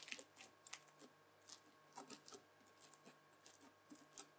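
A white plastic knife, then a white plastic fork, scrapes and presses into red bead-filled floam slime. Quiet, bright crunchy crackles come in short bursts spread across the clip, each dying away almost at once, with little low end.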